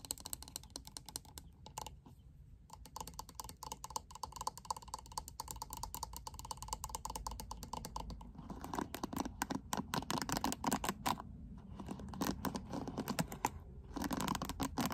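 Long acrylic nails tap the glitter-filled, hollow back panel of a handheld purple plastic paddle hairbrush and scratch across its black plastic bristles. Rapid, dry, clicky taps with almost no ring run throughout, thickening after about eight seconds into a denser, louder stretch of scratchy clatter with a midrange tone near 850 Hz.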